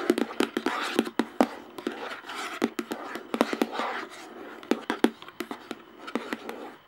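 Long painted nails tap and scratch the top of the large, hollow screw-on plastic lid of a clear plastic jar. A rapid, irregular series of sharp, dry clicks with a hollow low-mid body, about 250 Hz, alternates with bright, airy scratching swishes. Each tap dies away almost instantly.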